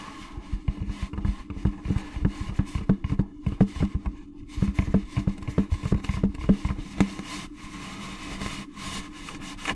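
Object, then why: Plastic pumpkin candy bucket. Long gloved nails tap and scratch the sides of an orange, hollow plastic jack-o'-lantern candy bucket held close to the mic. Quick, dry, hollow knocks with a low tone around 200 Hz come in irregular bursts over soft scratching. The taps thin out near the end, leaving a quieter, steady scraping.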